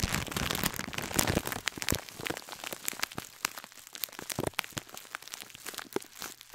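Long nails scratch and crumple the clear plastic bag around a gold scouring sponge held close to the microphone. Dense, bright crinkling and crackling fill the clip, dotted with sharp clicks and snaps that fade quickly.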